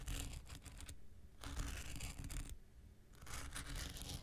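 A handheld pink rectangular nail buffer block of solid foam with an abrasive surface is scratched with an X-Acto knife blade. Three bursts of dry, bright, gritty scraping are separated by short quiet gaps, over a faint low rumble.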